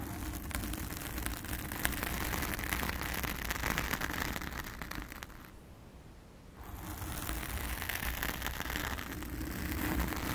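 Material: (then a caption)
Foam. Long acrylic nails of both hands scratch a blue foam cover on a round studio microphone, making a dense, crackling rustle with a strong low rumble underneath. The scratching is steady and busy at first, drops to a much quieter, darker hush around the sixth second, then returns at full level to the end.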